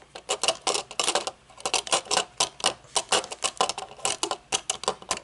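Long nails tap the metal frame and dark tinted lenses of aviator sunglasses, first resting on a table and then held up. The result is a quick, uneven run of light, bright clicks that stop almost instantly, with no low-end weight.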